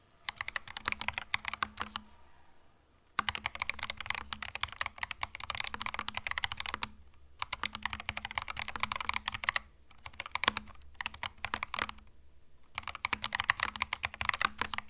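Fingertip typing on a compact cream mechanical keyboard with plastic keycaps gives rapid, bright clacks in several bursts separated by short pauses. Each keystroke is short and dry with no ring, over a faint steady low hum.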